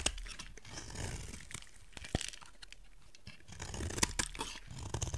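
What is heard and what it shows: A utility knife blade scrapes a solid rectangular white soap bar, shaving off flakes with dry, crunchy, crackling scrapes and bright gritty hiss. The scraping pauses briefly partway through, then resumes with louder, sharper crunches near the end.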